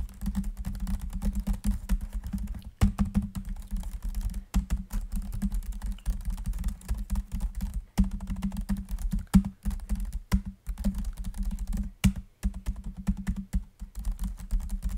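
Both hands type quickly with their fingertips on the plastic chiclet keys of a grey laptop's built-in keyboard, which sits over a hollow body while the laptop rests on a lap. A dense, steady stream of short, dry key clicks carries a low, hollow thud around 190 Hz, broken by a few brief pauses and some sharper, louder taps.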